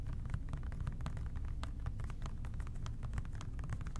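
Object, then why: Plastic trigger spray bottle. An OxiClean plastic trigger spray bottle with a white trigger, hollow and partly full, is tapped rapidly with the fingertips of both hands. Quick, dry, light taps patter without pause over a steady low rumble, each tap dying away almost instantly.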